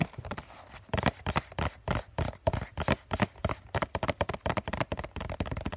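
A hollow COCON cardboard tissue box is held against the chest while the fingertips of both hands tap and scratch its bottom face. About 25 quick, dull, hollow taps land in an uneven, brisk rhythm, mixed with faint papery scratching. The taps are soft, low-heavy and die away almost instantly.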